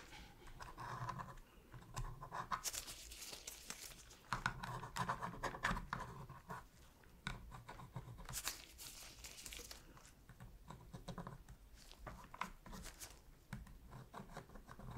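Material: Plastic.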